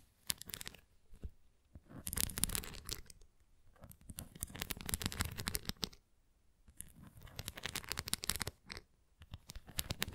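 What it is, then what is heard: Plastic flying disc scratched with nails. Long nails scratch across a red plastic flying disc toy with bumpy spokes, making dry, crackly, rasping bursts. The bursts run from a low rumble up to bright highs, with brief quiet gaps between them.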